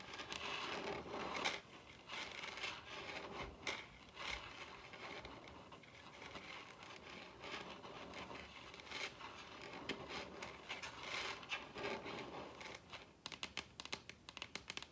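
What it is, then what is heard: Wooden table top. Long red nails gently tap and scratch across a large solid wooden table top. A steady, bright scratchy rustle runs throughout, broken by soft taps, with a quick run of sharper, crisp taps near the end.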